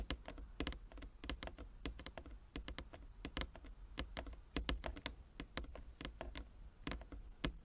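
Long nails and fingertips of both hands tap rapidly on a large, flat wooden chess board with inlaid squares. The result is a quick, uneven stream of short, crisp clicks with bright tops that die away almost instantly, over a steady low hum.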